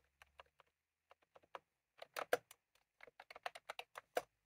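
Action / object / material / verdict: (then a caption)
tap / plastic keyboard with round keycaps / plastic / none. Fingertips of both hands type on a white/cream plastic retro computer keyboard with round typewriter-style keycaps, resting on a desk. Short, dry, irregular clicks come in quick bursts with brief pauses, centered in the midrange with a bright edge.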